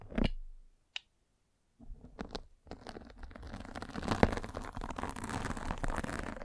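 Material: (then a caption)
Fabric mesh. A metal-spiked derma roller is rolled over a white fabric mesh net covering a round microphone head, scratching the net. After a soft rub and a single tap, a pause gives way to dense, crackly scratching and rustling that continues to the end. One sharp click stands out midway through the rolling.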